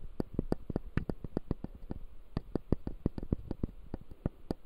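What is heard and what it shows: Fingertips and short nails tap and scratch across the front teeth of a hand-sized typodont jaw model with clear acrylic gums and white resin teeth, set on a light pad. A quick, uneven series of short, dry clicks sounds over faint scratching, each tap dying away almost instantly. The taps are mostly low and muted, with thin bright edges.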